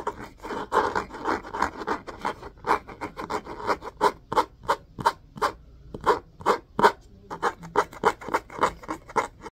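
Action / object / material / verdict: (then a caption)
scrape / cloth-covered hardcover book / cloth and board / none. Fingernails scratch and rub along the spine of an orange-spined hardcover book with a cloth-covered board cover, held spine up and solid. Quick dry, raspy strokes repeat in a steady rhythm, with a midrange scratchy core and a bright hiss on top. The strokes pause briefly near the middle of the clip.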